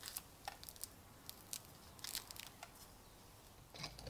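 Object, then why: Iron hammer head with rust crust. A steel chisel scrapes a small, solid, rusty iron hammer head without a handle, held in a gloved hand, to flake off its rust crust. The sound is a quiet, irregular series of short, bright, crackly scrapes and crunches that stop sharply. Rust flakes off the head.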